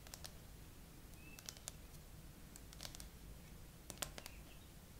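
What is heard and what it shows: Long acrylic nails tap quickly across the frosted glass back and near the camera bump of a gray iPhone with no case, mounted on a tripod. Sharp, bright clicks come in irregular runs over a low, steady hum, each one dying away almost instantly.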